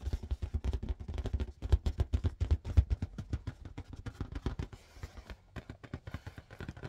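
Fast but gentle fingertip tapping on a blue marble-pattern latex balloon, inflated with a balloon pump. The taps come as a rapid, slightly uneven stream of soft, low, dull thumps that stop almost instantly. Nearly all of the energy sits in the deep low end, with no brightness.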